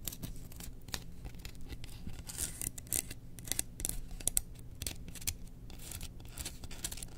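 Long nails scratch along the engraved handle of a bamboo slotted spoon held in the hand, making quick, dry, bright scraping strokes. The strokes come in irregular bursts over a steady low hum.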